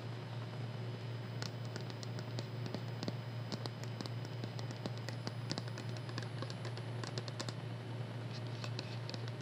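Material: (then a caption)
Plastic. Long manicured nails tap rapidly on a small, hollow white plastic cosmetic bottle with a printed label, held in both hands. The result is a quiet, irregular patter of light, bright clicks over a steady low hum.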